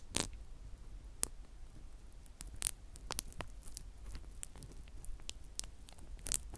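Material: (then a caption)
Plastic. A flat sheet of clear plastic bubble wrap is held in both hands while individual bubbles are squeezed and popped with the fingertips. Sharp, bright snaps burst out at irregular intervals, some with a faint crinkle, over a quiet low rumble. Each pop cuts off almost instantly.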